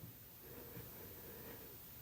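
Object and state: Nothing is struck.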